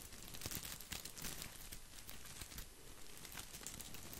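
Fingertips scratch and brush over the green plastic leaves of an artificial boxwood topiary ball. This makes a steady, quiet, dense crinkling rustle with bright, crisp scratchy ticks over a soft low rumble.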